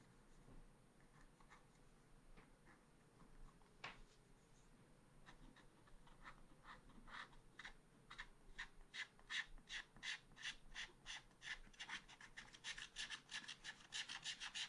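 A wooden stylus scratches along the rooster's tail on a small black-coated scratch art paper card, producing short, bright, dry scratching strokes. The strokes start sparse and faint, then grow faster, denser and louder toward the end over a quiet, low background hiss.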